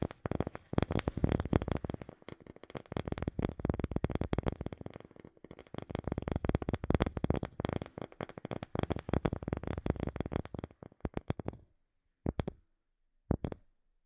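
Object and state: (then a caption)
Wooden object. Rapid, continuous tapping on a wooden object with no talking, producing dense, dry, short knocks with a low, woody body and a brighter click on top. The taps run in quick clusters for about 11 seconds, then thin out to a few isolated bursts separated by silence.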